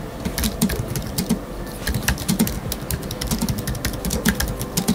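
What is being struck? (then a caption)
Low-profile computer keyboard, plastic keys on aluminium body. An Apple Magic Keyboard with numeric keypad in space grey, a thin aluminium body with black plastic low-profile keys on a wooden desk, is typed on rapidly with the fingertips of both hands. The steady stream of short key taps gives soft low thuds near 190 Hz and bright, crisp clicks that die away almost instantly.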